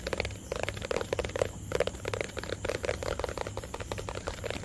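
A small, hollow white plastic tub is tapped and scratched with fingertips and nails close to the mic. The result is a quick, uneven run of short, dry taps with a hollow tone around 500 Hz, mixed with bright scratching and a steady low hum underneath.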